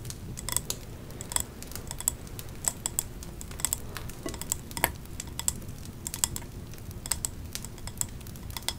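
Long nails tap and scratch the printed glass side of a three-wick glass candle jar with a leaf design and a metal lid, full of wax and held in the hand. The result is a steady stream of quick, light, clicky taps with bright high-pitched glints that die away at once, over a soft low background hum.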